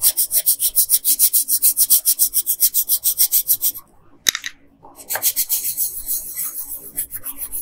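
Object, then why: Colored pencil on a thin paper sheet. A yellow wooden colored pencil rubs quickly back and forth across the hair area of a thin paper coloring sheet lying flat on a table. About two dozen bright, scratchy strokes come in a steady rhythm for nearly four seconds, then stop. After a short pause and a single sharp tick, the strokes resume, softer and less evenly spaced.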